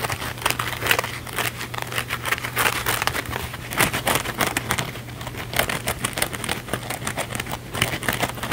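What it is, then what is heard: Kitchen sponge with scouring pad, scratched. A small blue cellulose kitchen sponge with a scouring pad, held in both hands, has its scouring-pad face scratched fast and aggressively with fingernails. The result is a dense, continuous run of bright, crinkly scratching and crackling with quick bursts, over a steady low hum.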